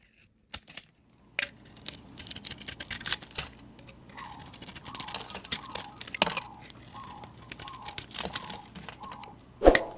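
A solid oval bar of Palmolive soap with a painted copper coating and a green interior is held in one hand while a metal utility-knife blade shaves and carves curls off its surface. Quick, bright, crisp scraping and crackling strokes follow one another, some with a faint tonal squeak. A sharper, louder cut lands near the end.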